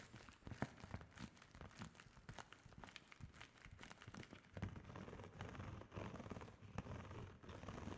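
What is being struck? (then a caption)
Padded plastic bubble mailer. A large, flat holographic plastic padded bubble mailer printed with GLAMNETIC is held up and tapped and scratched with long fingernails. Quick, dense taps blend with soft crinkling and scraping across the plastic, staying fairly quiet with a dull, low-heavy tone.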